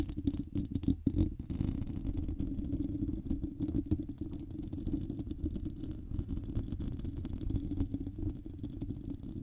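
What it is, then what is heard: Metal mesh microphone grille being scratched. Long painted nails on both hands scratch directly across a hand-sized, hollow, silver metal wire-mesh microphone grille. The result is a steady, dense, muffled rumbling scrape concentrated in the low end, with many quick crackling strokes blurring together and a few sharper louder scratches near the start.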